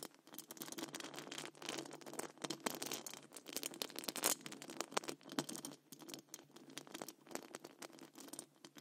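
Very long acrylic nails on both hands scratch and tap the rounded, hollow metal wire-mesh grille of a large condenser microphone. The result is a dense, uneven patter of quick clicks and rasping scrapes, bright and crisp with almost no low end. Each touch dies away at once, and the level rises and falls in short bursts throughout.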